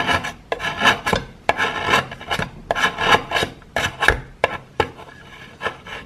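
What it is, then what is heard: Plaster chunk being scraped. A metal knife blade scrapes a handheld chunk of solid grey plaster, shaving off powder. Repeated short, gritty rasping strokes sound dry and bright, each starting with a sharp attack and dying away quickly, separated by brief pauses.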